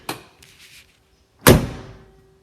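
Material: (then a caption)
Steel. The original steel door of a 1972 Porsche 911T is shut twice: a light click of the latch, then a solid, heavy thunk followed by a faint lingering ring as it settles. The door closes cleanly, consistent with a well-fitting original door.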